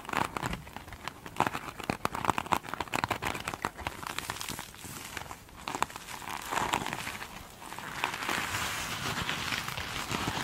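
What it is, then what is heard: Glitter-coated foam sponge. Long pointed nails scratch and tap the glitter-beaded top of a single soft, solid foam sponge. Dense crinkly, crackling scratches and sharp clicky taps come with a bright, gritty texture. Toward the end they blend into a steadier, continuous rasping scratch.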